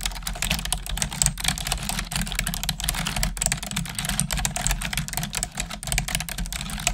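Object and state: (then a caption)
Plastic computer keyboard being typed on. Long acrylic nails and fingertips type rapidly on the hollow plastic keys of a black plastic desktop keyboard. The result is a dense, continuous stream of bright, short clicks and taps with no long pauses, over a steady low hum.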